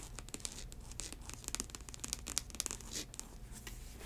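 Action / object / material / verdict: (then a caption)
scrape / faux snakeskin ankle boot with rubber sole / faux leather / none. An empty faux snakeskin ankle boot with a chunky rubber sole is scratched by long acrylic nails across the upper and the studded welt. The result is a quiet run of bright, dry scratching and ticking with short sharp clicks and almost no ring, over a low steady rumble.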